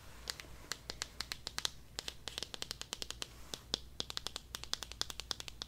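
A small, pink, hollow vinyl Tokidoki figure held in both hands is tapped and scratched with long dark-painted nails, giving about forty quick, dry, bright clicks with almost no ring. Faint scratching fills the gaps over a low background hum, and soft whispering may be present.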